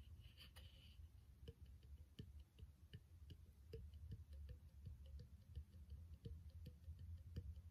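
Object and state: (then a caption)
Clear glass bottle. A small, empty, thick-walled and hollow clear glass bottle with an open threaded neck and no cap is held in one hand and tapped with the fingertips and short nails of the other. The result is a steady run of quiet, sharp taps that die away almost instantly, heard over a low, continuous rumble.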